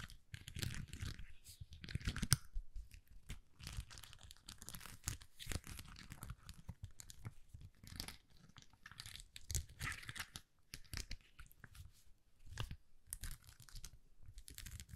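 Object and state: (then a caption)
Plastic rhinestone sticker sheet. Long nails scratch and tap across a flexible plastic sticker sheet of small purple and white acrylic rhinestones, bent into a curve. A dense, steady run of dry crunchy scratching and quick clicking taps is heard, mostly low with bright crackle on top, and one sharper tap stands out early on. Each sound stops almost at once, with no ringing.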